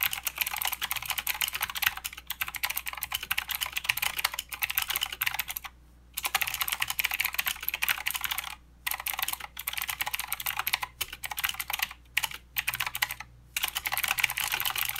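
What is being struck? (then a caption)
Plastic mechanical keyboard. Fingertips of both hands type continuously on a plastic mechanical keyboard with clicky blue switches and plastic keycaps. Rapid, bright, sharp clicks pour out in dense bursts, broken by a few brief pauses near 6, 9, 12 and 13 seconds. Each click is dry and short, with almost no low end.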